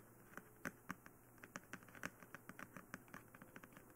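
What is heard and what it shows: Long nails tap and scratch across the face and head of a glossy black hollow plastic dummy head microphone. About 22 quick, dry clicks sound over a quiet, steady hiss, each sharp and brief with a bright edge and almost no ring.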